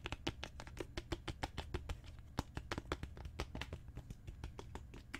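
Long fingernails tap quickly and unevenly on a solid, dark brown genuine leather book cover, making about thirty short, dry clicks. Each tap has a dull low thump under a brief bright tick and dies away almost at once.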